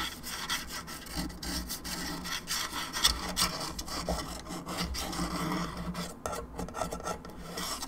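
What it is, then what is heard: Plastic skull lamp scratched with nails. Long nails scratch the sides and top of a hollow plastic skull candelabra lamp, making a steady, dry rasping sound. The scratching is bright and papery, with small swells and scrapes running throughout over a faint low hum underneath.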